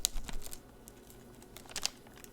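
An expired instant film pack is shaken, giving short, dry, bright rattling clicks like a faint maraca: a burst at the start, a quiet stretch, then another pair of ticks near the end over a low background rumble. The rattle comes from chemicals that have dried inside, leaving the pack dead and rusted.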